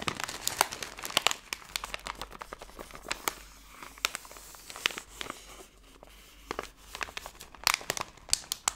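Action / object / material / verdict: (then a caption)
scrape / plastic film candy bag / plastic film / none. A hand-sized Wild Berry Skittles bag of printed plastic film is squeezed and crumpled by fingers with long blue-painted nails. Dense, bright crinkling crackles come in bursts with many sharp clicks. There is a quieter stretch in the middle before louder crinkles return near the end.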